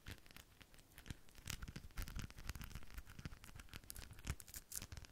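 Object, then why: Rhinestone-studded decorative ball. A rhinestone-studded decorative ball is held in one hand while long nails tap and scratch across its gems. The result is a quiet, dense stream of sharp, bright clicks and crinkly scratching, with a soft low rumble underneath.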